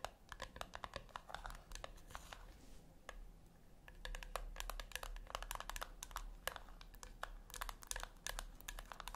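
Long nails rapidly tap and scratch the top lid of a flat, round brushed-metal tin that is likely hollow. Quick, dry, bright clicks come in dense clusters. Around the third second they give way to a soft scratching stretch, all over a faint steady low hum.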